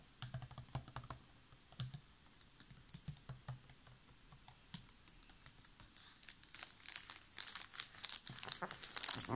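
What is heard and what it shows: A large clear PET plastic water bottle with a blue cap and paper label, mostly full of water, is squeezed and tapped with fingertips and nails. It gives quick crinkles and clicks with low thumps underneath. The sound starts sparse and grows busier and brighter toward the end.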